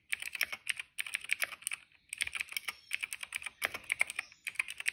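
Fingertips of both hands type on a retro-style mechanical keyboard with a hollow, cream plastic case and black, purple and yellow plastic keycaps. Rapid bursts of bright, crisp plastic clacks centre near 2.3 kHz with no low end. Each click dies almost instantly, with short pauses just before 1 second and around 2 seconds.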